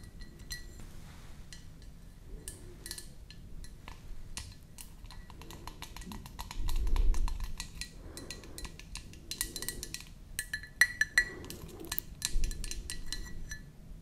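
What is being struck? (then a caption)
Empty ceramic mug tapped with fingernails. Long nails tap quickly and irregularly inside an empty white ceramic mug with a flower print and a handle, and along its outer wall. The taps give short, bright clinks that die away almost at once, over a steady low background rumble that swells briefly midway through.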